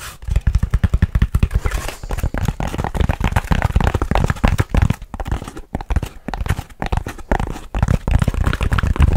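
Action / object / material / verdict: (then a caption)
scrape / grey foam packing insert / foam / none. A lightweight, rectangular grey foam packing insert with cut-out slots is held in the hands and scratched and squeezed with the fingertips. The result is a fast, steady run of short, dry scratching and crinkling bursts, dense and muffled, with most of the energy deep and low and almost nothing bright.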